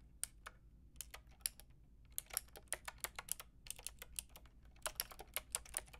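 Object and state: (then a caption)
Plastic mechanical keyboard being typed on. A white-and-pink Lofree mechanical keyboard with round plastic typewriter-style keycaps and a hollow plastic case is typed on with long painted nails and fingertips. Quick, bright, clicky keystrokes come in short irregular bursts, each dying away at once over a faint low hum.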